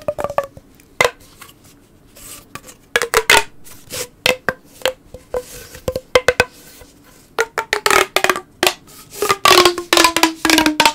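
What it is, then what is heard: Plastic pop tube. A long, hollow, blue corrugated plastic pop tube is held in both hands while fingertips rub and squeeze its ridges and the tube is stretched out. Bursts of sharp, bright plastic clicks and ridged rasping come in irregular clusters, with a hollow tonal ring near 500 Hz. Near the end, louder stretching brings dense crackling and a slowly falling whine.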